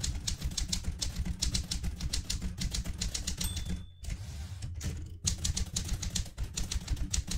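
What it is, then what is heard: Metal manual typewriter. Fingertips with long red-painted nails type steadily on the plastic keys of a vintage Smith-Corona manual typewriter with a metal casing. Fast, bright key clacks sit over a low thumping body, with a brief high ringing tone and short lulls near the middle before the typing resumes.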